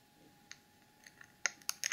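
Long acrylic nails tap and scratch the sides and screw lid of a small clear plastic cosmetic jar full of dark holographic glitter, held in both hands. Sharp, dry, bright clicks come at irregular intervals with almost no low end and no ring. They grow louder and denser toward the end.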